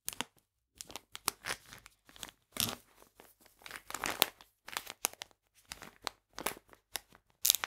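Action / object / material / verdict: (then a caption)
scrape / plastic bag of polenta / plastic / none. A full plastic bag of polenta is held in the hands while fingernails scratch and tap its back side. The result is a string of short, dry, bright crinkles and scratchy bursts separated by brief silences. Each burst fades almost at once, with little low-end weight.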